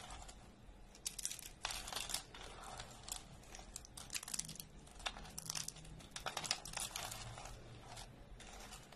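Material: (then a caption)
Soap. Thin, brittle flakes of dry orange soap are picked up and snapped or crumbled between fingertips over a pile of flakes. The result is dense, bright, dry crackling and crunching in uneven bursts, with sharp little snaps that stop almost instantly over a faint low background.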